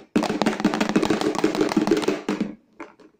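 A hard carom coin is shaken inside an empty box with its lid closed, producing a quick, busy rattle of clicks and taps for about two and a half seconds. A few faint knocks follow as the shaking stops, and the coin makes a clear sound inside the box.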